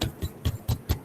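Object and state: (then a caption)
Chest tap over the breastbone. Five low, dull thumps from tapping on the chest over the sternum, the flat breastbone in front of the heart. Each knock is short and deep, with almost no ring, and falls at an even pace.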